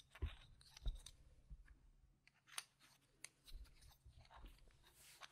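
A few solid, yellow-rimmed plastic poker-chip-style game tokens are held in one hand and riffled and clicked together between the fingers over rows of tokens on a mat. The result is a quiet, irregular series of short, sharp plastic clicks that die away almost instantly, with light shuffling between them.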